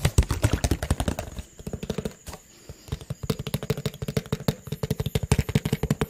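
A clear PET water bottle with a teal label, partly filled with water, is held in hand and rapidly tapped with fingertips and nails. About forty quick, dull, low thuds with very short decay come in fast bursts, with a brief near-silent pause midway before the tapping picks up again.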